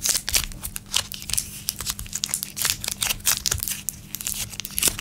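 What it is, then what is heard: Plastic candy wrapper. A small plastic-film Laffy Taffy blue raspberry wrapper with the taffy still inside is held between the fingertips and thumbs of both hands, then crinkled and twisted while being torn open over a wooden table. Many sharp, bright crackles and crinkles come in quick, uneven bursts, with a faint steady low hum underneath.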